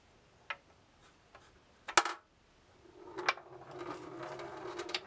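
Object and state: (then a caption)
Steel ball in bamboo maze. A steel ball in a hand-tilted bamboo labyrinth maze gives scattered sharp ticks against the walls, with the loudest cluster near the two-second mark. From about three seconds on, a steady rolling rumble builds as the ball travels across the wooden board, broken by more ticks.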